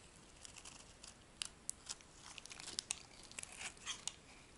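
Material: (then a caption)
Soap. A metal blade shaves a light green, rectangular, solid dry soap bar, peeling off thin sheets. The sound is quiet, bright, crisp scraping and crackling, with a series of sharp, dry ticks and crunches that stop instantly over a faint hiss.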